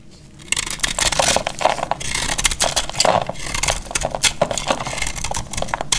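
A solid rectangular cream-coloured bar of dried soap, held in the hand, is cut and scraped with a metal utility-knife blade, shaving off crumbly flakes. After a brief quiet start, dense, dry, bright scraping and crackling strokes follow in quick succession with no ring after each.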